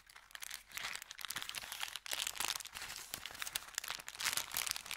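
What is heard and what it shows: An empty brown kraft paper bakery bag is scrunched in the hand, then opened and crinkled. The result is a dense, continuous bright crackling and rustling with sharp papery snaps and almost no low end. There are brief lulls near the start and around the two-second mark.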